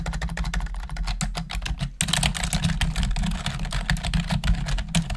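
Long acrylic nails and fingertips type rapidly on a full-size black plastic computer keyboard with a hollow housing, producing a dense stream of sharp, bright clicking taps that decay quickly. A steady low hum sits under the typing, which gets louder and busier after about two seconds.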